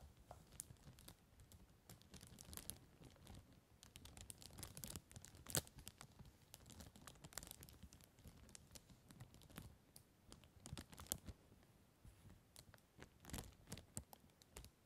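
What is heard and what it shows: Fingertips press, tap and scratch a large, empty, clear plastic cellophane bag lying on a table, then the hands lift away near the end. The result is a quiet, steady stream of dry crinkles, crackles and soft taps, with sharp bright bursts of rustling scattered throughout.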